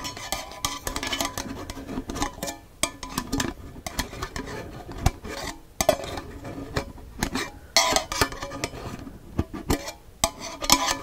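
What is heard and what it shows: A hollow cylindrical metal tea tin with a paper label and a metal lid is held in the hand while fingertips and nails rub, scratch and tap the lid rim. Many quick, bright metallic clicks and taps ring out over a steady scratchy rustle, each dying away almost at once.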